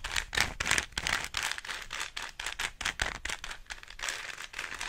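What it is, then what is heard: Plastic Rubik's cube being turned. Fingers and nails quickly turn the layers of a small, hollow plastic 3x3 Rubik's cube, making rattling, crinkly clicks in fast, irregular bursts. The sound is bright and dry, centered around 2 kHz with little low end, and each click dies away almost instantly.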